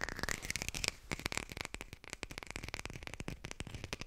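A textured artificial plastic lime is fast-tapped and recorded with a hi-fi mic. The result is a rapid stream of dry, clicky taps with a brief pause near the one-second mark. A bright, faint tone sits near 2.4 kHz beneath the hits.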